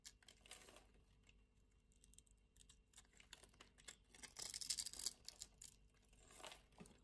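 A small, solid pink rectangular soap bar held in the palm is scored in a grid and scraped into cubes with a metal utility-knife blade. Quiet, bright, crisp scratching and crunching ticks come at an irregular pace, swelling into a louder, hissy crumbling burst midway before easing off.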